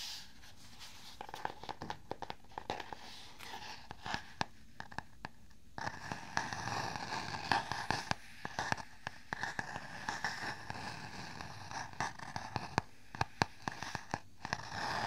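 Fingertips tap and scratch the stiff cardboard cover of a medium-size black hardcover spiral notebook held up close to the mic. Dense, sharp, dry clicks and papery scratching scatter across the whole clip, growing busier and a little louder after the first few seconds, with scratchy friction filling the gaps between taps.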